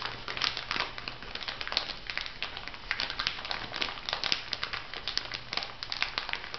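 A small clear plastic bag filled with white granules is pressed and scratched by long nails and fingertips. Bright, dense crinkling comes in quick overlapping bursts, with a faint low hum beneath.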